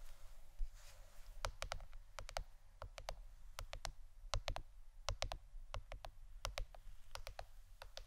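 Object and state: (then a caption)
Plastic board, tapped with fingernails. A plastic board shaped like a shirt is tapped with the fingernails for ASMR, giving an uneven run of short, sharp, bright clicks that die away almost instantly. A steady low hum sits underneath throughout the quiet taps.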